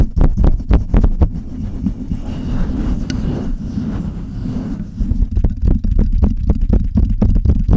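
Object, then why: Metal-bodied microphone with mesh grille. Long red nails tap the metal body of a Blue Yeti USB microphone and scratch its mesh grille. Quick, deep, thumping taps come first, then a stretch of steady rough scratching, then a faster run of taps again. The sound is heavy and muffled, almost all low frequencies with no bright edge.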